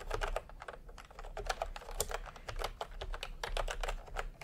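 Fingertips tap quickly across a full-size plastic typewriter-style computer keyboard with round retro keycaps in peach and cream, lying on a white cloth. A steady run of short, dry clacks with a mid-range body and bright tops stops dead after each key, over a faint low rumble.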